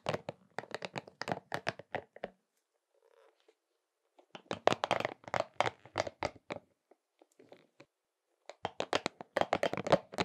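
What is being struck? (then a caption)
Soft rubber spiky massage ball. A pink soft rubber spiky massage ball is rubbed and squeezed in both hands and patted with the open palm. About thirty quick, dry, crinkly pats and squeaks come in three dense bursts, separated by quieter stretches of faint rubbing.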